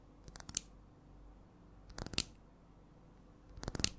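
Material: Glass.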